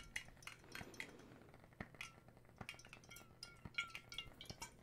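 A clear, hollow glass bottle partly filled with water is held in both hands close to the mic, tapped with fingertips and nails, and turned and tilted so the water sloshes inside. Quiet, short, bright clinks and taps ring around 2.2 kHz and die away almost at once, mixed with soft liquid movement and faint handling noise.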